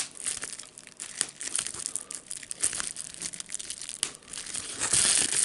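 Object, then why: Plastic bubble wrap sheet. A clear plastic bubble wrap sheet with air bubbles is held flat in both hands while the fingers crinkle it and pop the bubbles. The result is a steady, bright, irregular crinkling with little low end, dotted with short, sharp pops and snaps. The crinkling grows louder and denser toward the end.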